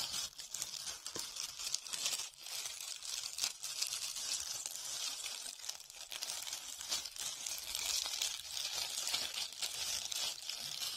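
A hand-sized, solid white foam ball covered in glitter or beads is cupped in both hands and scratched with long red-painted nails. The result is a steady, dense, bright crackling and crinkling scratch, with nearly all of its energy high and almost no low end, running for about eleven seconds.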